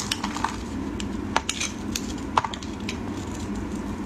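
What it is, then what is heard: Bar of soap being carved. A metal utility blade shaves and carves a solid white bar of soap held in hands wearing pink finger cots, breaking off dry, crumbly flakes. A steady soft scraping runs throughout, broken by sharp, crisp little cracks and clicks as the blade bites and chips pieces away.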